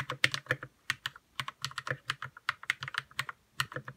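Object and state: Plastic mechanical keyboard being typed on.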